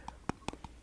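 Five short, dry taps on a small metal tin of woodland-scented body butter, each a quick click with a faint tinny ping around 900 Hz that dies away almost instantly. The taps are spaced unevenly over under a second against a quiet background.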